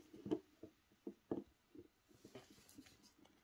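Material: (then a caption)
Soap. A metal knife blade shaves and cuts the crumbly surface of a small, solid ball of dry recycled Dalan soap held in black-gloved hands. Short, dry, crunchy scrapes and cuts come at an uneven pace, dense in the low-mid range and dying away almost instantly. The sounds fade into softer, lighter scraping toward the end.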